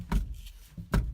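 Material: Steel.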